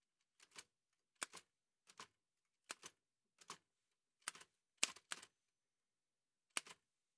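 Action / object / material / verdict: strike / metal manual typewriter / metal / none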